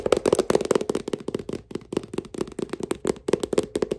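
Fingertips wearing gold metal thimbles tap rapidly on the glossy printed cover and edge of a thick, solid paperback novel held in one hand. The result is a quick, uneven pattern of short, dry clicks with almost no ring, and each tap has a hollow knock around 500 Hz with a bright metallic tick on top.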